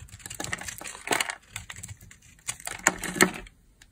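A hand with long nails holds a square, peach, solid soap bar embossed "EMBRACE SOAP BAR" while a metal utility blade scrapes across its face, shaving off crumbly dry flakes. Dry, bright, crackly scraping bursts come in irregular strokes with no ring. The loudest crunches land near the end before it falls quiet, showing the soap is dry.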